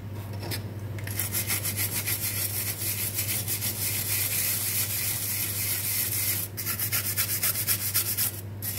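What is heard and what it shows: A small, hollow, perforated stainless steel drain strainer basket, foamy with soap and held in hand, is scrubbed vigorously with a dark bristle brush. The brushing makes rapid, rhythmic, bright scratchy strokes over a steady low hum, with a brief pause before the scrubbing resumes.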